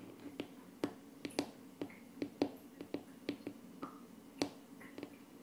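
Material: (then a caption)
Laminate wood. Short painted nails of one hand tap and scratch a flat, solid wood-laminate tabletop with a wood-grain finish, giving about 15 sharp, dry clicks with a low hollow thud near 290 Hz and almost no ring. Soft scratching strokes fill some of the gaps, over a faint, steady diffuser hiss in the background.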